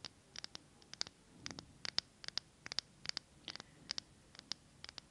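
Long acrylic nails tap and scratch a small glass jar candle filled with green wax as it is tilted in the hands. The result is a quiet, irregular run of sharp, bright clicks, each dying away almost instantly, with a soft scratching texture between them.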